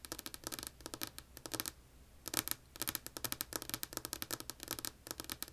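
Long polished nails tap a solid, flat, light wood-grain tabletop with both hands. The taps come as quick, bright clicks in fast bursts and runs, each dying away almost at once, with brief pauses between the runs.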